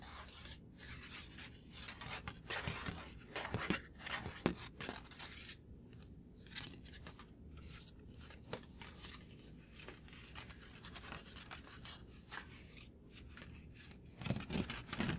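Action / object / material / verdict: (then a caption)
scrape / thin paper sheet or card / paper / none. A thin white paper sheet or card held in one hand is tapped and scratched with the fingertips and short nails of the other hand. Quiet, irregular, crisp taps alternate with bright, papery scratching and rustling, and the louder taps cluster toward the end.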